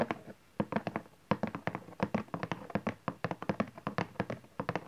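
Fingertips and nails tap quickly and unevenly on the bottom face of a cardboard camcorder box with folded flaps, while hands hold its sides. About thirty short, dry taps sound, each with a hollow low tone near 200 Hz and a faint bright click, dying away almost at once.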